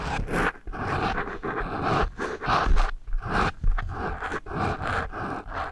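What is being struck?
Foam microphone windscreen rubbed with pencil erasers.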